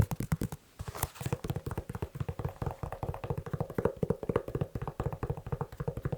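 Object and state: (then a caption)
Leather shoe. Fingers tap quickly on a leather shoe, producing a rapid, steady run of short, dry, low thuds centered around 105 Hz with almost no high-end ring. After a brief pause near the start, the tapping continues evenly through the rest of the clip.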